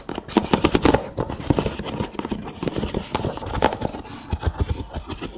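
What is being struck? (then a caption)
Nested kraft paper cups. Fingernails scratch along the rolled rims of a stack of several brown kraft paper cups, nested, hollow and empty, lying on their side. Quick dry rasping scrapes come in rapid bursts, with a hollow low body and a short decay.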